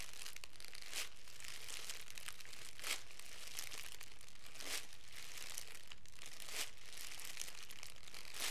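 A hand-sized bundle of thin, clear plastic cellophane wrap is squeezed, rubbed and crinkled by the fingertips of both hands. The result is a continuous, quiet, bright crackling texture, with sharper crinkle bursts surfacing every couple of seconds at an uneven pace.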